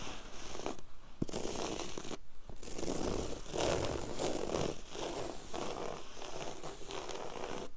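Very long yellow acrylic nails scratch fast back and forth across a flat, solid, low-pile woven grey carpet on the floor. A dense, rasping, scratchy texture runs continuously, with short pauses near one and two seconds, then steady rhythmic strokes that carry a soft low body and a bright hiss.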